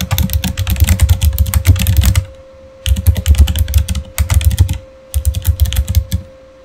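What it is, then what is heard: Plastic mechanical keyboard being typed on. Fingertips type on a backlit Razer mechanical keyboard with plastic keycaps, producing rapid bursts of clicky, clacky keystrokes with deep thocks. The typing comes in four runs separated by short pauses, with a faint steady hum underneath.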